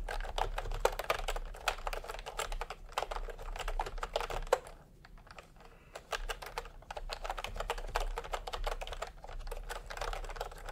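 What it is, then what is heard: Plastic round-key keyboard being typed on. Both hands' fingertips type continuously on a cream and pink plastic retro keyboard with round keycaps. The result is a dense stream of light, quick clacks with a brief quieter pause around the middle.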